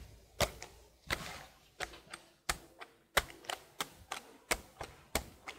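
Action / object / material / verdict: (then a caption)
tap / plastic laptop keyboard / plastic / none. Long blue nails and fingertips tap and type on the keys of a detached black plastic laptop keyboard held in front of a microphone. Sharp, bright plastic clicks come in an uneven rhythm, some in quick pairs, each dying away almost at once.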